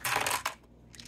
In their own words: Les pierres roulées, ils ont un meilleur son aussi. Ça sonne comme des bijoux.